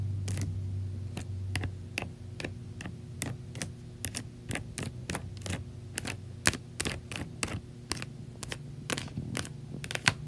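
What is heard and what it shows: Long nails and fingertips tap and scratch the plastic bars of a large white slotted plastic laundry basket full of clothes. Sharp, dry clicks and scrapes come in a quick, uneven series, each bright and dying away almost at once, over a steady low hum.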